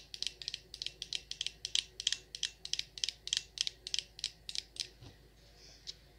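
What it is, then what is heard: Glass candle jar. Long nails tap rapidly on the glass sides of a Champagne Toast glass jar candle full of wax. The taps are bright, dry clicks with almost no low end, around 3.2 kHz, each dying out almost instantly in an uneven run. Near the end they pause briefly, then a faint soft sound is followed by one last tap.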